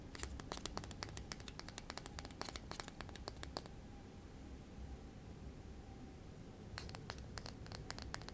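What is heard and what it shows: A miniature, solid, light-wood rolling pin is held in the hand and scratched and tapped with fingernails, making quick, dry, bright clicks and scratches. A dense run of clicks plays for about three and a half seconds, then there is a quiet stretch of low background hum. Another burst of clicks starts near the end.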